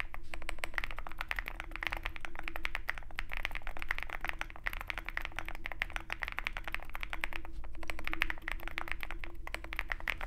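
Fingertips of both hands type continuously on a Zoom65 65% mechanical keyboard with white MT3 PBT keycaps and a dark aluminum case, resting on a desk mat with a wooden wrist rest. A rapid, uneven stream of short clacky key strikes with a bright upper click rides over a steady low hum.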